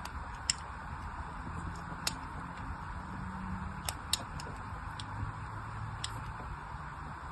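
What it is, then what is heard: Bar of soap being scored with a blade. A thin blade scores crisscross grid lines into a solid, hand-sized pink bar of soap held in a long-nailed hand. Sharp, bright little ticks and scratchy clicks stand out at irregular intervals over a quiet, steady low background hiss, each cut ending almost instantly with no ring.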